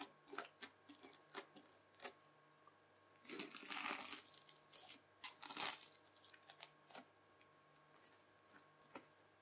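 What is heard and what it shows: A white plastic fork strokes and scratches across the beaded surface of red bead-filled floam slime, and the slime is folded. Crisp, bright crackles and clicks come in quick bursts, with two longer, denser crunching stretches in the middle. A faint steady hum sits underneath.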